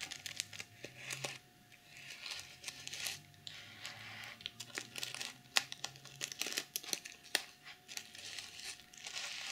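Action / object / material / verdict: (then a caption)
scrape / plastic sequin pouch / plastic / none. Fingernails scratch across a plastic sequin pouch and flip the sequins, with a fur pom-pom attached but untouched. The result is a bright, dry crinkling and scratching, broken by many sharp, irregular clicks as the sequins flip over.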